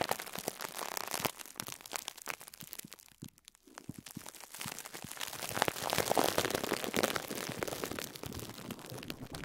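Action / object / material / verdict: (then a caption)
tap / foam sponge wrapped in plastic film / plastic film / none. Fingertips press down on the top of a pink and yellow foam sponge wrapped in clear cling film, crinkling the plastic. Dense, bright crackles and crunches pile up irregularly. They dip into a brief quiet stretch before building to a fuller, busier crinkling.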